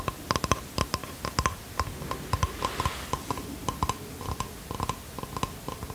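Fingernails tap and scratch across the wooden face of a small bamboo box held out in both hands. About two dozen quick, dry clicks with very short ring and a faint hollow tone around 1 kHz sit over a soft, continuous scratching texture.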